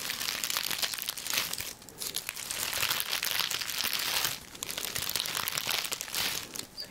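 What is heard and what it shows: A hand-held bundle of dried herbs, with long narrow leaves on stems that sit loose and airy, is grasped and crunched by fingertips with long nails. The result is a steady, bright, high crinkling and crackling with quick dry crunches, easing briefly in short lulls between squeezes.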